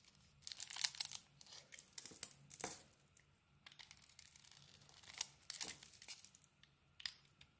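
A small metal blade carves a pink and white solid bar of soap, and pieces break off. The result is quiet, bright, crisp scraping and crumbly crunching in short bursts, separated by near-silent pauses over a faint low hum.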